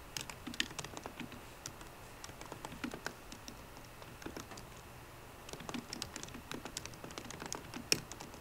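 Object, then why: Plastic laptop keys on aluminum body. Fast typing with fingertips and short, rounded, green-painted nails on the low-profile plastic keys of a 13-inch aluminum MacBook Pro with a hollow, thin body. The clip is a quiet stream of crisp, bright clicks with almost no ring, thinning to a lull around the middle before picking up again and ending with one louder tap.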